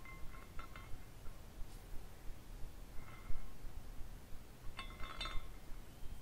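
A small clear glass carousel figurine with dangling glass horses is spun by fingertips turning its top flag, and the glass pieces clink against each other. Light, bright tinkling chimes come in scattered clusters over a low, steady background rumble.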